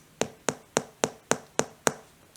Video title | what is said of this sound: Air Jordan 11 Jubilee Anniversary Review and On Foot | you know the way it sounds when you tap it it's it's definitely plastic but it's hard plastic